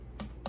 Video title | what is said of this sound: Clean with Me/ Making a Messy house into a Safe Haven￼/ Living Room Tour | you can hear it's hollow